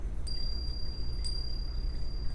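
Two 22-carat gold Krugerrand coins are lightly tapped together for a ring test. Each tap gives a clear, high metallic ring with sustained tones that linger over a low background rumble. The coins are real gold.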